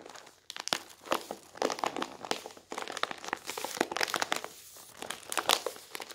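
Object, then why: Rolled newsprint newspaper. A rolled newsprint newspaper is squeezed in both hands over an open newspaper on a wooden table, with the fingers pressing, rubbing and crinkling the roll. The result is dense, dry crinkling and crackling in uneven bursts, bright and papery with almost no low end. Short sharp crackles stand out between the softer rustling.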